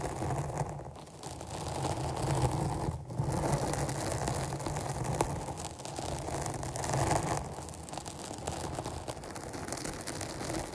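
Long nails scratch a rounded, black porous foam microphone windscreen held in both hands. The result is a continuous, dense, irregular scratching and rustling with a heavy low, muffled rumble that swells and eases throughout.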